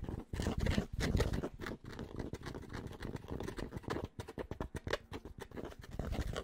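Fingertips scratch and tap rapidly on the fabric crown of a grey Penn State baseball cap. The sound is a dense, muffled run of soft taps and rough scratching, weighted toward the low end with very little brightness. The taps die away quickly, leaving a steady, close, papery texture throughout.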